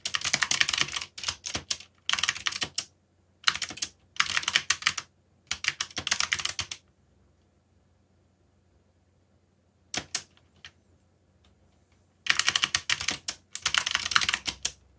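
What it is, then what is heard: Mechanical keyboard typing. Fingertips type on a backlit mechanical computer keyboard with plastic keycaps, producing rapid, bright, crisp clicks with almost no low end. The keystrokes come in quick bursts separated by short pauses, with a long near-silent stretch in the middle before typing resumes in full.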